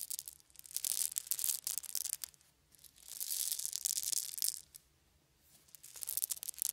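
A handful of small round wooden beads is poured and shaken in cupped hands. It makes bright, crisp rattling and clicking in three bursts, separated by near-silent pauses.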